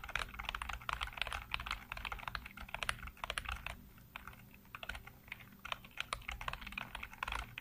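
Fingertips rapidly tap and type on the hollow keycaps of a full-size black plastic computer keyboard, heard close up. Dense bursts of short, sharp clicks with bright, crisp tops come in quick runs. A brief lighter pause falls in the middle before the typing picks up again over a low, steady hum.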